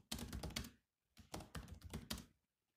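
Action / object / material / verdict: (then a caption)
tap / plastic laptop keyboard / plastic / none. Bare fingertips of both hands type on the black plastic chiclet keys of a grey laptop with a solid body resting on a desk mat. Two quick bursts of clicky taps come with a short pause between them, each tap a dull low thunk with a bright click on top. Every tap dies away almost at once.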